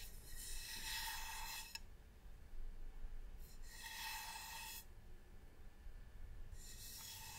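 Fingertips and nails rub and scratch the surface of a medium, hollow, varnished wooden box, producing bursts of bright, raspy scratching with a faint hollow ring. Quiet pauses separate the strokes over a steady low rumble.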